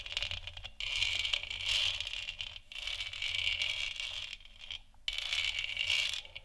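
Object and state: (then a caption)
Plastic moon lamp scratched. Long nails scratch the top and sides of a large, hollow, textured plastic moon lamp sphere. The result is a bright, dry, rasping scrape with a faint rattle, heard in four sustained passes separated by short pauses, with almost no low end.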